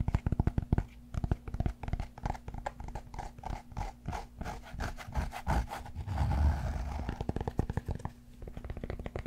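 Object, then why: Cork yoga block. A large solid cork yoga block is held flat and then tilted while fingernails scratch across its textured face. The result is a run of quick, dry, low-heavy scratching strokes, with a smoother, rougher rasp in the middle before the rapid strokes return.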